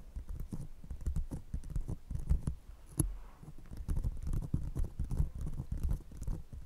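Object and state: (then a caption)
Empty paper coffee cup. Long painted nails of one hand tap and scratch an empty, hollow brown paper coffee cup held over a fluffy microphone, while a second cup sits untouched. The result is a rapid, uneven patter of deep, muffled thumps and soft scratches. Nearly all of the sound sits in a boomy low range around 74 Hz, with short, dull taps and almost no brightness.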